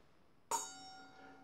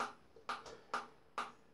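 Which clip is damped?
The second.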